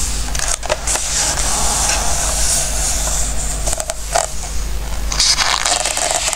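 Fingertips rub and stroke the coated pages of an open glossy-paper book resting on a wooden table. A steady, bright papery hiss runs throughout, with soft scraping strokes and a few louder crackly swipes over a low, constant hum.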